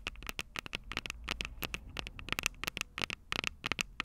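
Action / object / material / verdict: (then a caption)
tap / metal microphone capsules on a handheld recorder / metal / none. Long purple nails on both hands tap and scratch the small metal X/Y microphone capsules on top of a plastic Tascam DR-05 recorder, the recording mic itself. A rapid, uneven run of sharp, dry clicks and scrapes sounds very close and bright, with a ringing tone around 2.6 kHz and soft low thumps beneath.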